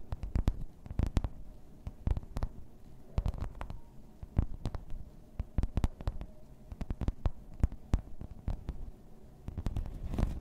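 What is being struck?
Thin embossed plastic placemat.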